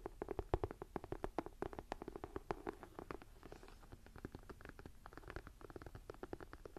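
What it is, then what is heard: Leather-look binder journal, tapped and scratched. Long nails and fingertips scratch and tap the textured leather-look cover of a closed, thick and solid dark green ring-binder journal. A rapid run of short, dry taps and scratchy strokes sits mostly in the low and mid range with little brightness, and each tap dies away almost at once. The taps are louder and more spaced at first, then settle into a quieter, steadier patter.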